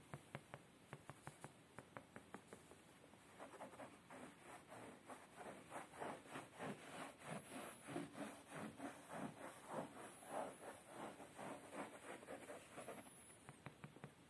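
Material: Fabric.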